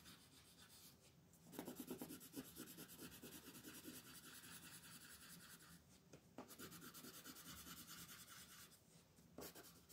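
A colored pencil, held in a hand with long painted nails, makes coloring strokes across a flat white paper sheet printed with a mandala, lying on a table while the other hand holds it still. Soft, dry scratching and rubbing runs in steady back-and-forth strokes with a bright, papery hiss. The strokes stop briefly a few times, then resume.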